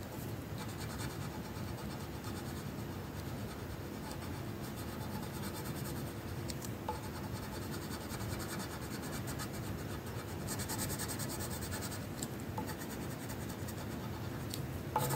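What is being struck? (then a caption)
Paper sheet with wooden colored pencil. A magenta wooden colored pencil held in the fingertips makes short scratching strokes across a flat paper coloring sheet, filling in an outline. The result is a steady, soft, low-weighted scratchy rasp that runs the whole clip, with brighter crackly bursts appearing briefly near the middle and end.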